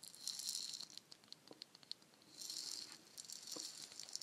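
A palm-sized hollow painted wooden shaker egg is tapped and scratched with long nails and shaken so its fill rattles. Bright, hissing bursts of rattling come and go, with quiet, sharp clicks and taps between them. The sound is soft and almost entirely high-pitched, with no low end.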